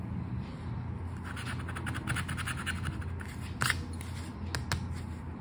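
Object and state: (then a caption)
Paper scratch card being scratched. A flat paper Aranha da Sorte scratch card is held down by the fingers while the edge of a red and gold token scrapes off its scratch-off coating. A run of quick, dry, rasping scratches is heard, with a few sharper strokes near the end, all over a steady low hum.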